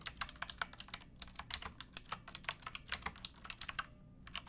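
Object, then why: Mechanical keyboard with plastic keycaps. Both hands type on a pink backlit mechanical keyboard with plastic keycaps, striking the keys with fingertips and nails. About 28 quick, bright clicks and clacks come in a steady stream with almost no ring or low end, pausing briefly just before the clip ends.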